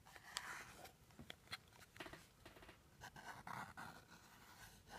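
A small teal rigid cardboard jewelry box is tapped with a white stick, then with fingertips and nails close to the microphone. The result is a quiet series of dry, hollow taps with short, bright clicks and soft scratchy brushing between them, each fading quickly.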